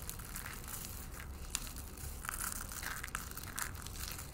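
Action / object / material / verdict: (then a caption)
scrape / dry soap shavings and flakes / soap / none. A bare hand with painted fingernails scoops up dry, brittle green soap shavings and flakes from a pile on a white wooden table and crushes handfuls in the fist. The clip is a steady, dense crunching and crumbling with bright crackly detail and a low rumble underneath, with a few sharper snaps standing out.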